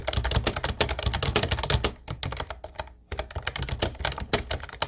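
Both hands type with their fingertips on a light blue plastic retro keyboard with round white keycaps. Rapid clacky keystrokes combine a low thump with bright, sharp clicks. The typing slows and briefly stops near the middle, then resumes at a steady pace.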